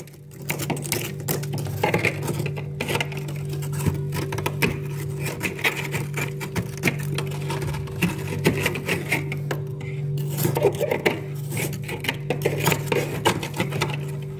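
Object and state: Freezer frost (ice buildup) being scraped.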